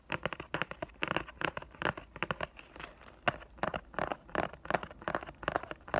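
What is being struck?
Cardboard box in loose cellophane wrap.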